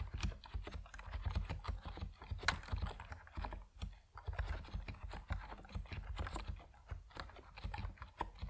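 Fingertips of both hands type on an Epomaker NiZ Plum Atom 68, a 68-key compact mechanical keyboard with white and purple PBT plastic keycaps resting on a wooden desk. A steady run of quick, short keystrokes sounds as soft, low-weighted clacks with brief clicky tops, each dying away almost at once. One sharper, louder stroke stands out around the middle.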